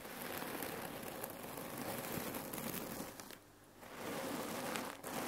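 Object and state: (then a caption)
Cherry-pit filled cotton pillow. A folded red cotton neck pillow filled with cherry pits is scratched with long nails and squeezed by hand, giving a dense, steady crunchy rattle of pits shifting inside the fabric. The rattle dips briefly near the end before resuming.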